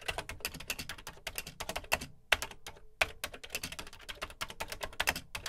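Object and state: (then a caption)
Plastic computer keyboard being typed on. Fingertips type on the dark plastic keys of a Commodore VC 20 home computer with a beige plastic case, producing a rapid stream of short, bright plastic clicks and clacks. The keystrokes come in quick runs, briefly slowing into a few louder, separate strokes near the middle before the fast typing resumes. Each click is crisp and dies away almost instantly, with little low-end weight.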